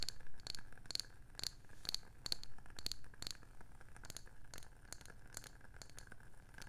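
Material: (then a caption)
Wood. A round, palm-sized, hollow wooden candle jar lid with a printed label on top is tapped and scratched with long painted nails. Quick, irregular clicky taps with a bright, high ring that dies away fast come about four per second, then fade into quieter scratching over a low, steady rumble.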